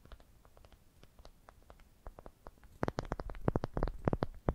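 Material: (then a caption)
Wood. Long dark painted nails tap and scratch the surface of a smooth, light-colored, palm-sized solid wooden ball held in both hands. A quiet, uneven patter of short, dry clicks with no ring grows into a louder, denser burst of taps in the second half.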